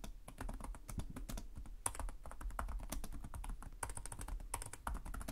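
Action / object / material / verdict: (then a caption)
tap / plastic laptop keyboard / plastic / none. Fingertips type steadily on the plastic keys of a black laptop keyboard, making a dense run of quick, dry clicks and taps. Each keystroke is short with almost no ring, and there is a soft low thud beneath the brighter click tops.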